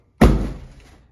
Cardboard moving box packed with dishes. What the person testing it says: you can hear nothing's gonna break as long as you have your box packed properly